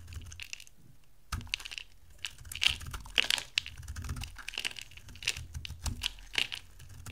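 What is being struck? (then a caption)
Bar of soap shaved with a knife blade. An oval solid bar of dry soap, orange with a blue rim, is held in the hand and shaved into flakes with a metal utility knife blade. The blade gives a series of dry, crisp scraping and crunching cuts, bright and brittle with a faint low rumble underneath. Each cut stops short with no ring as the flakes come away.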